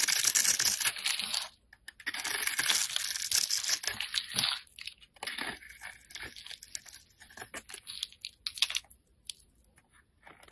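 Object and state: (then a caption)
Bar of soap being scraped. A solid, hand-sized oval pink soap bar, held in the hand, is scored and scraped with a metal utility blade while a purple bar lies untouched below. Bright, dry scraping and crackling come in dense bursts for the first few seconds, then break into shorter, irregular strokes separated by brief quiet gaps.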